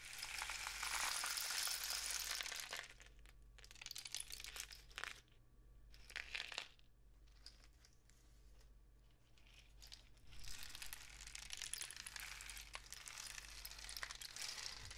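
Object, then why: Cardboard rainstick tube with loose filling. A long, hollow, painted cardboard rainstick is raised upright and then tilted, sending its filling flowing through the tube as a bright, crackling hiss. The pour comes in surges: a long one at the start, shorter bursts around four and six seconds, a quieter stretch, then another sustained flow from about ten seconds to the end. A steady low hum sits underneath throughout.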